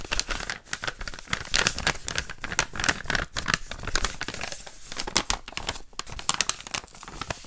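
An empty, flattened brown kraft paper bag with a green print is held in both hands while fingertips rub and crinkle it and flip it over. A steady run of crisp, bright crinkling and rustling fills the clip, with frequent sharper crackles and brief quieter gaps.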